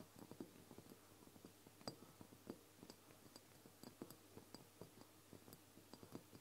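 Both hands tap the sides of a medium amber glass castor oil bottle, apparently filled with oil, with long painted nails. The bottle has a paper label and a black plastic dropper cap and stands on a wooden table. The result is a quiet, steady run of short, dry clicks and taps with brief bright glassy ticks and very little ring.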